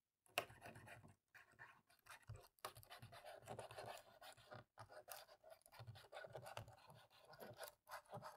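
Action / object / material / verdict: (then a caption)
scrape / plastic laptop keyboard / plastic / none. A cotton swab scrubs the gaps between the black plastic keys on the left side of a dirty laptop keyboard. Soft, dry scratching and rasping comes in uneven bursts with a few brief silences between strokes, fairly quiet and mostly mid-range with some bright hiss.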